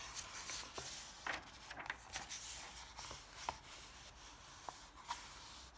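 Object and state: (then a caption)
Paper comic book pages rubbed and turned. Fingers and a palm rub across the thin pages of an open softcover paper comic book, then turn a page, making a soft, steady, bright papery hiss. Four short crisp paper snaps stand out above the quiet rustling.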